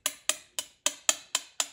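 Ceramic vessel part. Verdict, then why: Cracked. A ceramic vessel part is tapped with a metal wedding band at different spots around it, producing seven short, bright, high-pitched ticks that decay almost instantly. The tone differs from spot to spot, which points to a hairline crack in the part. The crack becomes visible when the part is flexed slightly.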